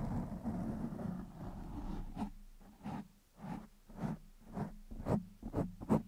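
Fingertips of one hand scratch and rub the top of a black foam windscreen on a microphone. A steady, muffled rubbing rumble at the start gives way to a series of separate scratchy strokes, each a short, boomy, low-pitched burst.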